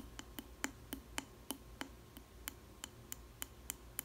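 Long red nails tap the base of a small square clear glass food container with a plastic lid, holding a slice of bread and seen from the bottom. Fourteen short, bright, clicky taps come at a steady pace, each dying away almost instantly over a faint low hum.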